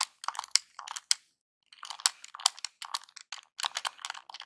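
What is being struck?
Small plastic game controller.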